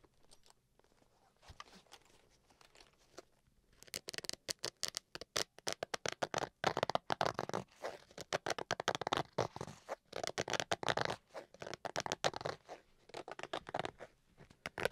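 Fingertips and nails scratch the fabric surface of a black zippered Nintendo Switch carrying case, a handheld-size, hollow, closed case with fabric over a moulded hard shell. Faint, sparse scratches in the first few seconds give way to dense, rapid bursts of dry, crunchy scraping that are bright and broadband with little low end. Each stroke stops short with no ring.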